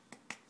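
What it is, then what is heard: Crisp baked pita chips. Two short, bright crackles come from homemade baked pita chips made from old pita bread and seasoned with ras el hanout as they are handled, each snap fading almost at once. The crisp clicks are strongest around 2 kHz with much energy in the high range, showing how crispy the chips are.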